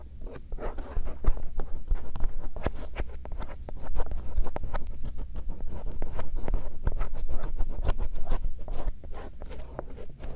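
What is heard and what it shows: A bamboo earpick, held by fingertips, scratches the concha and canal area of the silicone ear shells on a binaural microphone. The result is a dense run of quick, irregular scratching and rubbing strokes with a heavy low rumble and brief sharp clicks.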